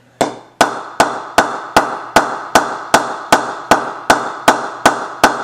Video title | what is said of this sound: cricket store online cricket bat ping comparison test | see how that one's got a bit of a different ping